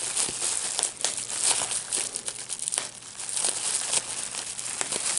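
A clear plastic bubble wrap sheet with small air-filled bubbles is held in both hands while the fingertips pinch and pop the bubbles. A steady run of sharp, bright pops rises out of a continuous crinkling, hissy rustle of the plastic, with almost no low end.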